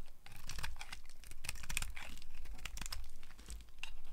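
A solid, dry pink soap bar with an embossed logo is held in the hand while a small blade scrapes shavings off it, and long nails occasionally touch the bar. The sound is a rapid series of dry, crisp, crackly scrapes and clicks with bright edges over a low, steady rumble.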